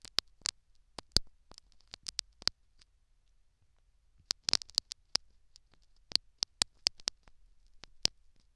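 A metal syringe needle scratches and prods the foam plug in the canal of a silicone dummy ear microphone, again and again. Sharp, bright clicks and scratchy ticks come in quick bursts, with a near-silent pause in the middle before another dense cluster. Each contact is very short with almost no ring, and there is little low end.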